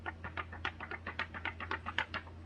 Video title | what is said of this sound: Testing out new photo paper - Koala 5x7 - Make flyers, invites, and more! | So that has good weight to it because a regular piece of copy paper, it would be very flimsy